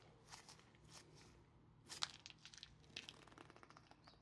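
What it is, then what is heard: Plastic sweet wrapper being crumpled. An empty Asda White Chocolate Buttons sweet bag, made of small flexible plastic film, is crumpled and squeezed into a ball by fingers in blue nitrile gloves. Bright, crisp crinkling comes in scattered bursts over a faint low background. The crackles are loudest and densest about halfway through.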